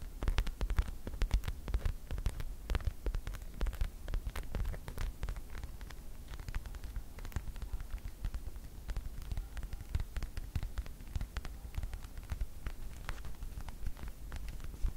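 A small white padded faux leather display pillow, stuffed and held up close, is scratched with the tips of long white acrylic nails on both hands. Dense, rapid dry scratches and ticks crackle steadily across the whole clip over a constant low hum. Each short click is bright and dies away almost at once.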